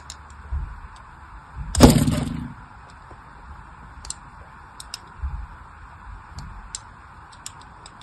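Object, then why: Soap bar. A thin blade scratches line cuts across the surface of a solid pink bar of soap held in the hand. One loud, bright scraping burst stands out near the middle, trailing into a short low rasp. Softer ticks and faint thumps sit over a steady hiss before and after it.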